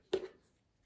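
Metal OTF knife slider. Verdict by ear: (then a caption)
Tight. An Axial Gear Shift OTF knife is shaken to check its metal slider/actuator for rattle, producing a single short, dull click centered around 380 Hz that fades within a fraction of a second. The slider is super solid, with essentially no rattle, unlike a Microtech.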